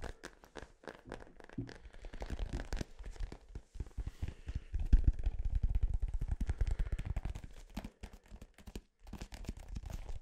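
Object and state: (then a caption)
Synthetic leather soccer ball, tapped and scratched. A blue, hollow, inflated synthetic-leather soccer ball, held close to the microphone, is tapped and scratched with fingertips and nails. The result is a rapid, irregular run of short, dull, low thumps mixed with soft scratchy crackles, growing denser and louder in the middle before thinning out.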